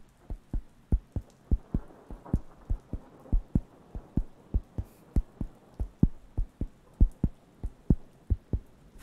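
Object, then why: Thin round wooden coaster. A round, flat, thin, solid wooden (cork-like) coaster is held near the microphones and scratched and tapped with fingertips. The result is 31 short, dull, low thuds at a loose, somewhat uneven pace of about 97 per minute, each dying away almost at once, with faint scratching between them.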